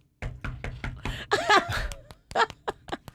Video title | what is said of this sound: KVJ TV 10-27-2021 | Sounds like knocking on a door.